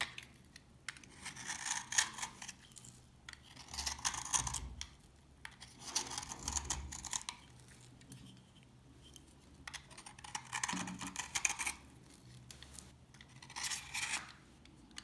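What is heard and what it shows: A utility knife with a yellow handle scrapes and cuts the surface of an old, dry orange soap bar held in hand, making crunchy shavings. Bursts of bright, dry crunching and scraping come one after another, separated by short quiet pauses.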